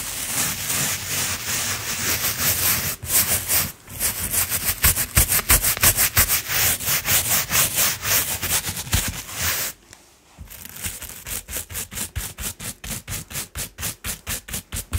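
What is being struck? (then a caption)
Coiled jute rope mat scrubbed with a plastic brush. A round coiled jute rope mat, held in place by one hand, is scrubbed with a blue plastic brush with white bristles. Bright, dense, scratchy bristle strokes run almost continuously at first, fall quiet briefly near the ten-second mark, then return as softer, clearly separated back-and-forth strokes at a steady rhythm of about three per second.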